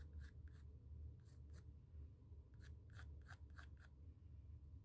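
A pencil tip scratches circles and outlines across the textured surface of a small square white stretched cotton canvas panel. Short, dry, bright scratching strokes come in quick bursts over a steady low hum, each fading almost at once.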